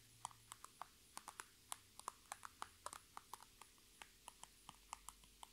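Long red nails tap and scratch a holographic transparent PVC Sephora makeup bag with items inside, resting on a table. There are 25 separate sharp, dry taps and ticks with a bright plastic edge, each dying out almost instantly. A faint steady high tone and a low hum sit underneath.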